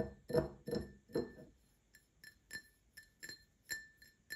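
An empty Paladone Mario Kart printed glass tumbler is tapped with short nails, first on the base and then on the side. The early base taps are fuller, with a low-mid body around 650 Hz, while the later side taps are thinner, bright glassy clinks with a steady ring near 2 kHz. Each tap fades almost at once, with short quiet gaps between them.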